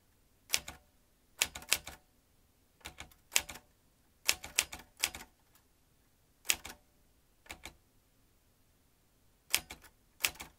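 A vintage metal manual typewriter with typebars is typed on by fingertips pressing its round keys while the carriage moves. Sharp, bright metallic clacks come in short bursts of two to four strikes, separated by brief pauses. Each strike dies away almost instantly.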